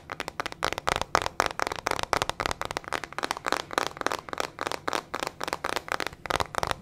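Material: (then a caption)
Plastic. A small teal plastic hairbrush with metal pin bristles and a hollow plastic body is held in the hand and tapped and scratched with long fingernails. The result is a fast, continuous run of sharp, dry clicks and crackly scratches, centered around 1.2 kHz with bright upper edges and almost no low end. Each hit stops almost instantly.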